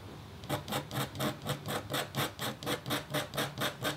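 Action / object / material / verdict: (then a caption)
scrape / black-coated copper foil scratch board scratched with a metal stylus / copper foil / none. A metal-tipped stylus scratches a flat, thin, solid black-coated copper foil scratch art board. After a half-second of faint hiss come 14 quick, steady back-and-forth strokes, each a bright, raspy scrape with a low hum beneath. The strokes stop short with almost no ring.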